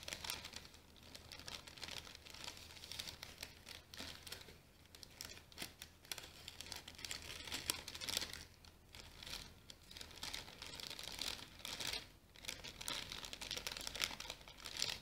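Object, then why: Tissue paper package. An orange tissue paper package is held close while long nails scratch and crinkle it. The result is a quiet, continuous, bright rustling and crackling that swells into denser bursts and fades again, over a faint steady low hum.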